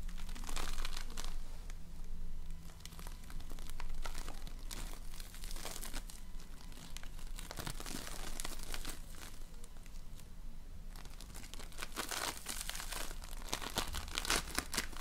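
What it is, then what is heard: Floam (foam-bead slime). A large lump of floam, slime packed with polystyrene foam beads, is pulled, squeezed and kneaded with fingers and nails. Dense, irregular crinkling and crunchy popping crackle throughout over a steady low hum, with bright bursts of crackle growing busier near the end.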